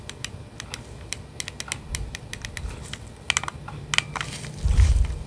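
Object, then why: Plastic game controller in a grip. Nitrile-gloved fingertips press and click the buttons and tap the shell of hand-sized, hollow red and blue plastic Nintendo Switch Joy-Con controllers attached to a black grip, held in front of the microphone. A steady run of short, sharp, bright plastic clicks sounds over a low, soft handling rumble, ending in a louder burst of thumpy handling noise near the end.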